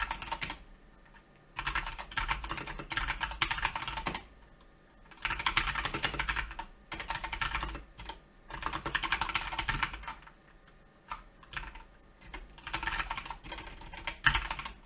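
A Keychron K2 mechanical keyboard with solid plastic keycaps, sitting on a white desk, is typed on with the fingertips of both hands. The result is bursts of rapid, bright plastic key taps separated by short pauses.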